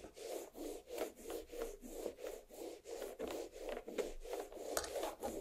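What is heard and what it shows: Long black nails on both hands scratch and rub the rind of a large, solid watermelon half resting on a plate. Rapid, rhythmic raspy strokes come about three per second, each a dry midrange scrape centered near 500 Hz with brief bright edges and almost no ring.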